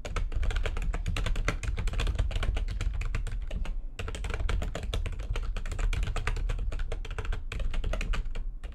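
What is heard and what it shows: Fast typing with long nails and fingertips on a full-size plastic computer keyboard with white backlighting and a hollow housing makes a dense stream of quick, clicky taps. The taps pause briefly near 4 and 7.5 seconds, over a strong, steady low hum around 59 Hz.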